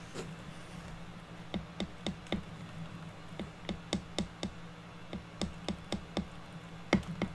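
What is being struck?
Unfinished pine board.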